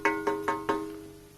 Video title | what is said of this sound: The ULTIMATE Long Sword - Darksword Armory Ring Hilted Longsword | you hear it rings like a bell. You can smack it, nothing rattles loose